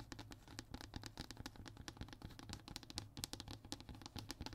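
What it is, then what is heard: Hardboard panel, solid. Fingertips and short fingernails scratch and tap on a flat, thin, solid brown hardboard (MDF) fiberboard sheet. Dense, rapid dry clicks and scratchy strokes have a bright edge over a steady low hum. Each tap dies away almost instantly.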